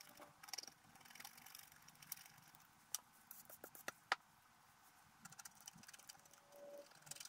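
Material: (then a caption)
Waxed paper. A thin wooden stylus scratches the black wax coating off a flat A4-sized scratch-art card with a colored holographic base, lying in a book on a table while fingertips hold it steady. The short strokes make quiet, dry, bright scratching and crisp little ticks, with a few sharper clicks standing out.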